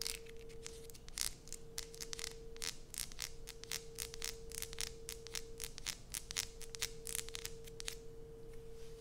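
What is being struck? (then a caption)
Bar of soap. Long nails scratch across the embossed logo surface of a solid light-blue Coast bar soap. A rapid series of short, bright, crisp scraping strokes runs throughout over a faint steady hum near 470 Hz, with each stroke ending almost instantly.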